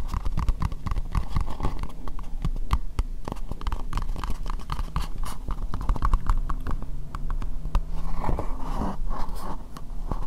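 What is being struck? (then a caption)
Plastic bowl. Long nails tap rapidly on an empty, hollow, translucent pink plastic bowl. The result is a dense, steady stream of short, dry clicks with a hollow, low thump under them. Each tap dies away almost instantly.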